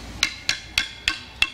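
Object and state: Hollow wooden branch (didgeridoo).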